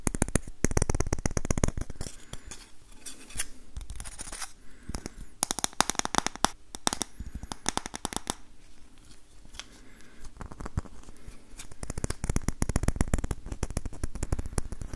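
Fingertips and nails tap and scratch the back of the hollow bowl of an orange varnished wooden ladle with visible wood grain. Rapid, dry, clicking taps come in dense bursts, with softer scraping and scratching in the quieter middle stretch, then the fast tapping picks up again toward the end.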